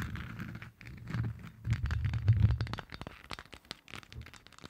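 Long nails from both hands tap and scratch all over a hollow, lit Stitch moon lamp, likely 3D-printed plastic. A deep, rumbling scrape swells in the middle, then breaks into quick, dry clicks and taps as the nails move across the sphere.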